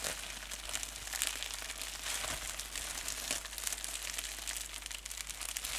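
Clear plastic bubble wrap, folded into a small wad, is squeezed and crinkled between fingers and thumbs with painted nails. It makes a steady stream of dense, bright, crackly crinkles with small sharper pops, over a faint low hum.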